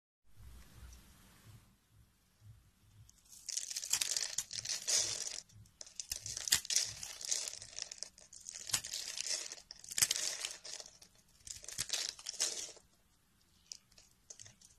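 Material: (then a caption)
Soap. A metal blade scores and shaves small cubes off the surface of a solid rectangular bar of peach-coloured soap held in the hand. After a faint, quiet opening, bursts of bright, crisp scraping and crunching run in uneven waves with sharp clicks. They fade back to near silence with a few light scratches at the end.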